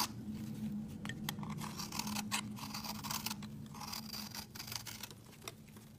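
A hand-sized, solid, speckled multicolored soap bar is scraped with a utility knife blade, producing crumbly, powdery shavings. Repeated dry, crackly scraping strokes with a bright, gritty texture sit over a steady low hum, growing quieter toward the end.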